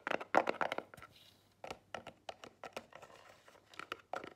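Long nails tap and scratch the front of a small, square, black Marlù cardboard jewelry gift box that stands closed on a table. The result is a quiet, irregular run of quick, dry taps and crinkly scratches with a papery midrange around 750 Hz. Each tap dies away almost at once, with faint hiss-like scraping between the bursts.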